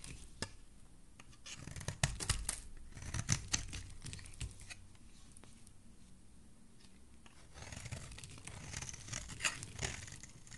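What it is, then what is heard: Bar of soap scraped with a blade. A metal blade scrapes the edge of a solid oval green soap bar into shavings. Dry, crisp scraping strokes with bright, hissy texture come in irregular bursts. There is a busier stretch early on, a quieter gap in the middle, and another run of scrapes near the end.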